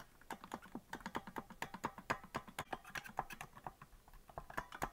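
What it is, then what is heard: Plastic melodica keys tapped. Fingers rapidly tap the plastic keys of a hollow green plastic melodica without blowing into it, producing a fast, uneven stream of short, dry clicks. The clicks are sharp and quickly damped, with a midrange tone around 800 Hz and little deep or high content, much like typing on a keyboard.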